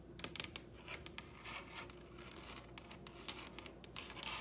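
Long red acrylic nails tap lightly across the surface of a large, solid wooden dining tabletop. The result is a quiet, irregular patter of short, bright clicks that die away almost instantly, over a faint steady low hum.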